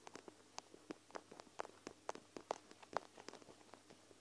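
Long nails scratch and tap along the bead-filled lower edge of a clear plastic gel-bead eye mask held over the recorder. About 15 quiet, short, dry clicks and taps arrive at an uneven pace, with faint scratching between them. Each tap has a mid-range body around 670 Hz and a brief bright edge, and dies away almost at once.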